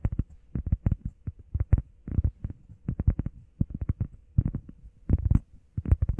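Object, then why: EVA foam pad. Long painted nails and fingertips tap quickly on a flat, solid, hand-sized grey textured EVA foam workout pad shaped like a heart. The taps come in rapid, uneven bursts of soft, dull, low thuds that die away almost instantly, with faint clicky edges and brief pauses between clusters.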